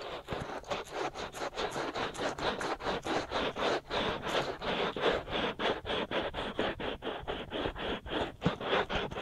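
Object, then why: Silicone ear of a binaural microphone. Fingertips and short nails scratch steadily around the outer ears and ear canals of the white silicone ear molds on a binaural microphone, in dense scratching strokes. About 26 dry, scratchy strokes follow one another quickly at a steady but slightly uneven pace. Each stroke is a short burst of mid-range rasping noise with a little high brightness and almost no low end.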